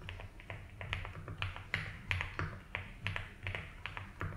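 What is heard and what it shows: Bare fingertips type slowly and continuously on a compact 75% mechanical keyboard with a light blue case, white and blue doubleshot ABS keycaps and a polycarbonate plate, resting on a grey desk mat. Each keypress makes a short, soft clack with a deep, thocky low end and a bright click on top, dying away quickly. The presses come in an uneven, steady stream.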